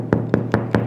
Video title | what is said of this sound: Beautiful Sourdoguh Bread From Start to Finish - Sourdough Bread Recipe | it sounds hollow. That means that the bread is hot and it's fully good fermented and fully baked